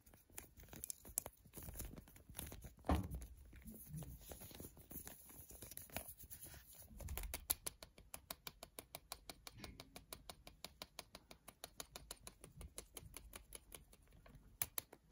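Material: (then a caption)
Plastic. A coiled white plastic-coated power cord with a three-prong plug is held in the hand. For the first seven seconds, fingertips handle it with soft rustling and scattered taps. It is then shaken and rattled, producing a long run of quick, dry, bright clicks that keep a steady rhythm to the end.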